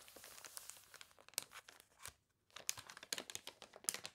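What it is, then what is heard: Paper catalog pages. Long nails scratch and press the water-wrinkled pages of a thick glossy paper toy catalog lying open on a table, and one page is turned. The result is a run of quiet, bright crinkling and crunching with short sharp ticks, broken by a brief silence near the middle.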